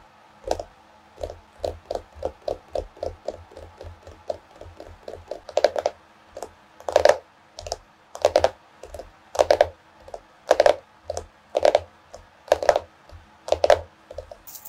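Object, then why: Cardboard-covered paper notebook. Long nails tap the solid cardboard cover of a small floral hardcover notebook with both hands, making quick, dry, clicky taps with a hollow mid-range knock. The taps start light and steady, then turn into louder clustered bursts in the second half, each stopping short with almost no ring.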